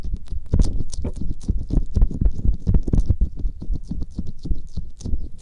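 Fingertips with medium nails rub, press and squish a pair of soft, hollow, flesh-coloured silicone ear covers on a Tascam binaural microphone, wet with aloe gel. A continuous stream of deep, muffled, squelchy pats and thumps is heard, with faint bright wet crackles above them.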